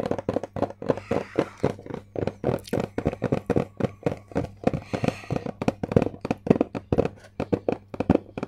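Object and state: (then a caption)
Hollow cardboard box tapped with nails. Long acrylic nails tap and scratch a closed, hollow white Samsung cardboard product box, about the size of a book, held upright in both hands and then tilted sideways. Around 39 quick, dry taps land in a steady, busy rhythm, each a short hollow knock with a low body that dies almost instantly. Soft papery scratching fills the gaps between taps.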